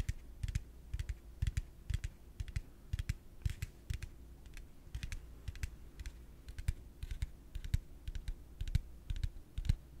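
A yellow hollow plastic pig piggy bank is held in one hand and rapidly tapped on its body with the fingertips and nails. The result is a quick stream of short, dry clicks with bright edges and a soft hollow thump under each one, over a low steady hum.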